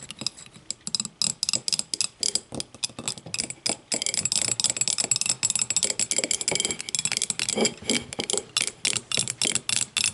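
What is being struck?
Empty glass tumbler tapped with fingernails.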